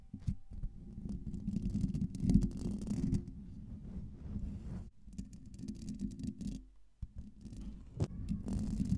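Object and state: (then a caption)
Metal mesh microphone grille being scratched. Long pink nails scratch rapidly across a hollow metal mesh microphone grille, producing a dense, low, rumbling rasp centered around 200 Hz. The scraping runs almost continuously, with brief dips near 5 and 7 seconds and a sharp, bright click just after 8 seconds.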